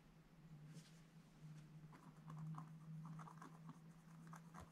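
A pointed wooden stylus scratches and rubs across a black-coated scratch-art page in a spiral book lying flat on a table. Soft, dry scratching and light patter come in short bursts over a steady low hum. The sound stays quiet throughout.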